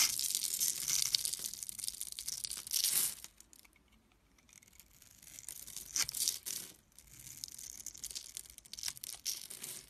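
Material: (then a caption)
Soap. A green and white striped solid soap bar is held in the hand while a metal blade cuts a grid into its face, and the small cubes crumble and flake off. Bright, dry crackling and scraping fills the first three seconds, drops to near silence, then returns in softer bursts of crisp crumbling.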